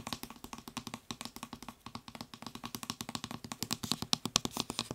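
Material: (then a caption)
Plastic. Fingertips and nails tap rapidly on the nozzle of a white plastic trigger spray head on a blue plastic bottle, producing a quick run of about 33 sharp, dry clicks. The taps are bright and hollow with a faint low body and no ring, growing slightly louder and brighter toward the end.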